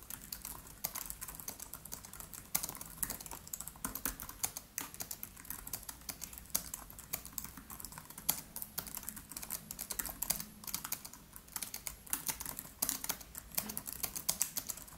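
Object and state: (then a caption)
Laptop keyboard typing. Fingertips of both hands type rapidly on the black plastic keys of a MacBook Pro laptop with an aluminium body. A steady stream of quick, bright, clicky taps runs throughout, each dying away almost instantly.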